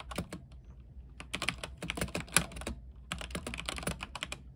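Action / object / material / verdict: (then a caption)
tap / mechanical keyboard with plastic keycaps on a metal frame / plastic / none. Fingertips type continuously on a backlit mechanical keyboard with white plastic keycaps on an aluminium frame. Quick bursts of bright, crisp clacks sit over a soft low thock, with each keystroke dying away almost at once. Brief pauses fall just before the first second and again shortly before the third.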